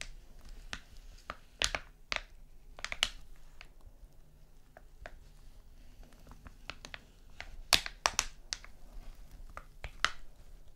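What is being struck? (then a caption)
Foil cosmetic sachet. A small flat foil face mask sachet lying on a sequin mat is tapped and scratched with fingernails. Sharp, bright crinkly ticks and scrapes come in irregular clusters over a quiet background, each dying away almost instantly.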